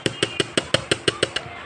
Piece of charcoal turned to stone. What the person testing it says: Uling na naging bato, sulit pa rin. Ganun pa rin sila.